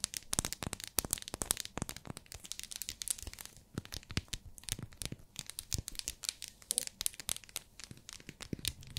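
Long nails tap and scratch a small, solid, pink, translucent glycerin soap bar in its plastic wrapper. The result is a dense stream of quick, bright clicks and crinkly plastic scratching that dies away almost instantly after each touch, over a faint low background.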